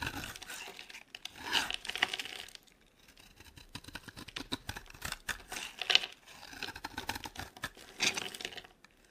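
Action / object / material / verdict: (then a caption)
scrape / bar of soap cut with a knife blade / soap / none. A solid, dry, oval green soap bar held in the hand is shaved into thin strips with a utility knife blade. Bright, crisp scraping and cutting sounds come in bursts of rapid, dry crackles with almost no low end. There are brief quiet gaps between strokes.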